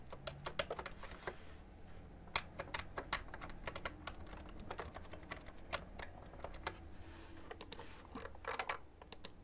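Fingertips and long nails type slowly on a cream plastic ergonomic computer keyboard with hollow keys. It makes a steady run of short, bright, hollow clicks with no ring, over a faint low background hum.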